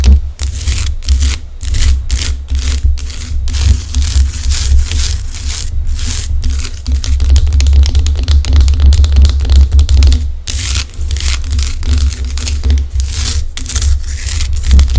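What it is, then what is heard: Himalayan rock-salt lamp. Long acrylic nails scratch and tap across the rough crystalline surface of a large, solid pink Himalayan rock-salt lamp. Rapid bright, crackly scratches and short, dry taps come in dense bursts over a steady low hum, with no ringing after each touch.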